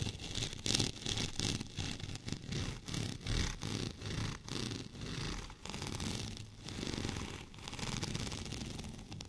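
Fingernails scratch across a white, bumpy, textured plastic rolling pin lying horizontally. Rough, raspy strokes come in repeated swells of bright, gritty scraping over a low rumbling body, with a faint steady tone running underneath.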